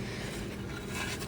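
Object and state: Nothing is struck.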